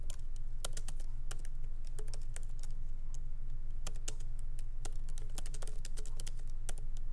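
Fingertips of both hands tap the black plastic keycaps of a MacBook Pro keyboard, set in an aluminum body on a wooden desk, in light typing. Soft, quick clicks come in an uneven, steady stream over a constant low hum.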